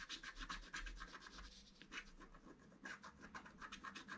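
A wooden stylus rubs and scratches the lower centre area of a flat black-coated scratch art card with repeated strokes. The result is a quiet, dry, rasping scratch with a bright hiss centred around 1.7 kHz, rising and falling in short, loosely regular strokes.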